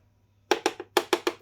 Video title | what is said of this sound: RC Update 12/01/21 Snow Run Aftermath | this is our aluminium and steel sheet